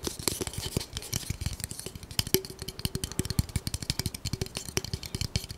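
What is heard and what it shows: A long, solid, light-colored wooden spatula that looks like bamboo is held horizontally and tapped rapidly along its length with the fingertips of both hands. The result is a fast, uneven stream of short, dry, hollow knocks with low thuds and bright clicky edges. Some taps leave a faint, brief woody tone.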